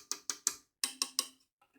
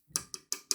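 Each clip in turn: First: plastic part of a microphone boom arm. Second: metal joint of a microphone boom arm.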